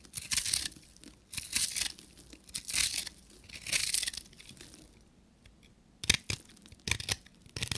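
A pink, solid bar of dry soap with a copper-painted crust is held in the hand and scraped with a short metal knife blade, shaving off powdery flakes. Long, bright, dry rasping scrapes come in bursts, followed by shorter, sharper crisp scratches with quiet gaps between them.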